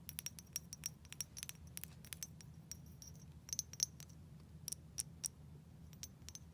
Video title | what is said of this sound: ASMR Game Show: "Let's Make A Deal" Inspired/Play-Along | it makes some beautiful sounds. Oh, the sounds it makes when I tap it.